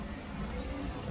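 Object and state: Nothing is struck.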